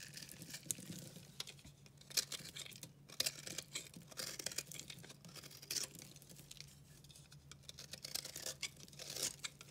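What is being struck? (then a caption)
Bar of soap cut with a knife. A solid, pastel, speckled bar of dry recycled soap is held in the hand and cut and scraped with a red-handled utility knife. It gives crisp, bright, crumbly scraping and shaving sounds with sharp little cracks, over a faint steady low hum.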